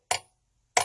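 A hollow metal silverware knife handle is tapped on metal twice, giving two short, bright clinks with a ringing tone near 730 Hz that die away quickly. The hollow handle produces the clinking sound that sets it apart from a solid one.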